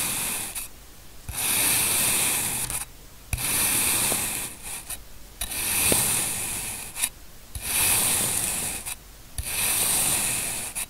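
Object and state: Kinetic sand being sliced.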